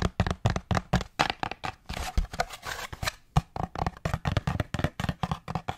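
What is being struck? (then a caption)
Cardboard paper towel tube. Fingertips tap quickly along a long, hollow, empty brown cardboard paper towel tube held close to the microphone, first horizontal and then upright. The rapid taps make dull, hollow, low thumps around 145 Hz that die away almost at once, with a brief brushier, blurred stretch in the middle.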